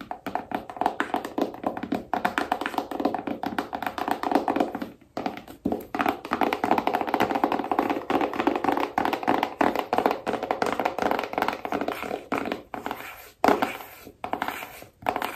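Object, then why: Small rigid cardboard phone box. Long painted nails tap quickly and steadily on the front and back of a small, rigid cardboard iPhone box held in the hands. The dense, hollow clicks sit in the mid range around 400 Hz with almost no low end and die away almost instantly. The run breaks briefly near 5 and 13 seconds.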